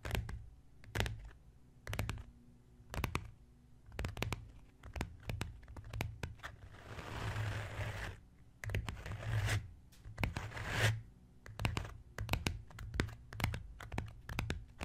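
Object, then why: Leather-covered book. Fingertips of both hands tap and scratch a solid brown embossed leather-covered book lying on a wooden table. Quick, dull taps with a low thud come in bursts, broken by stretches of soft, hissy scratching across the cover.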